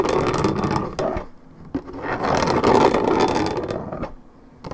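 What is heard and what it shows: Long red nails scratch the top of a hollow, coated-paperboard Minute Maid orange juice carton, making a dense, rhythmic scraping with a mid-range, papery rasp. The scratching runs in strong bursts, eases off to a quieter stretch, then builds back up before trailing away.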